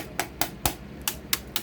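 Six quick, dry knocks land on a ThinkCentre desktop computer case, each a short, bright tap that dies away almost at once. The case sounds solid rather than hollow.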